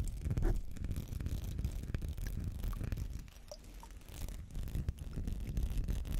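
Fingernails scratch over a small textured glass perfume bottle with amber liquid inside, held close to the mic. The sound is a steady, dense rasping scrape with a deep, muffled low-end rumble and faint bright ticks, dipping slightly in the middle before picking back up.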